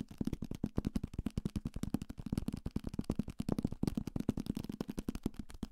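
A thick paperback copy of *Salem's Lot*, a solid paper block with a card cover, is held in the hand and tapped fast with fingertips and nails on the cover and page edges. It makes a rapid, uneven stream of dry, dull taps, low and woody around 240 Hz, each stopping instantly with no ring.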